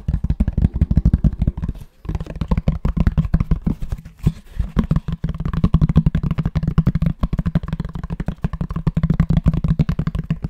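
Fingertips and nails tap and scratch the cover of a grey fabric-covered rectangular cardboard box, held flat and upright. The result is a rapid, uneven stream of dull, deep, short thuds with soft scratching, broken by brief pauses near 2 and 5 seconds.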